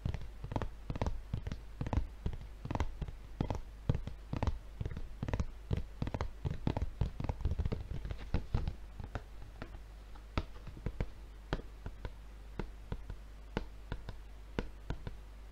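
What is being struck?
Paper refill pad in plastic wrapping.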